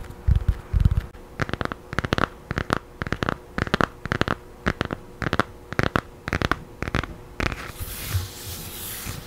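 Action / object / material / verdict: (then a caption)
tap / thin paperback book with glossy paper cover / paper / none. Long nails scratch and tap on a thin children's paperback with a blue and yellow glossy paper cover, held close to the mic. A few soft, low thumps open the clip, followed by a steady run of sharp, dry clicking taps and scratches in quick clusters. It ends in a brighter, hissy rustle.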